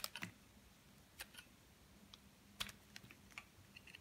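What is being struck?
Soap bar shaved with a metal blade.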